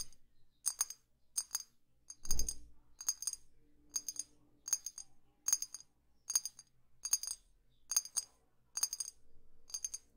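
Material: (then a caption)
Glass. Long fingernails tap slowly on a small, hollow, clear glass perfume bottle with a dark cap, producing bright, high glassy clinks in quick double-tap clusters at a steady pace. Each tap is short and crisp with only a brief ring, and a soft low thud is heard near the start.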